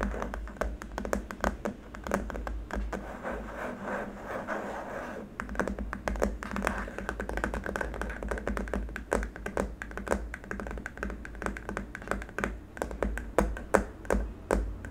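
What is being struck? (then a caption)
Hard plastic wrist rest. Fingertips and nails tap and scratch along the length of a long, flat, white hard-plastic keyboard wrist rest. The result is a rapid run of short, dry clicks and taps, with a steady low hum underneath.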